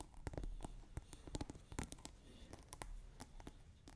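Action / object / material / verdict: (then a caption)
scrape / plastic scent pod on a glass water bottle / plastic / none. Long nails quickly scratch the rim and top of a plastic scent pod capping a clear glass bottle partly filled with water. The result is a dense run of short, dry scratching and clicking ticks over a low rumble.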